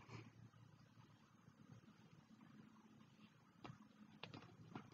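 Bare fingertips with short nails tap and patter on the brown kraft cardboard cover of a closed A5 spiral-bound notebook, a solid stack of paper, lying on a black hardcover diary with both hands resting on it. The quiet, dull, low patter is steady throughout, with a few sharper, brighter taps standing out near the end. Each tap dies away almost at once, and the diary beneath may colour the sound.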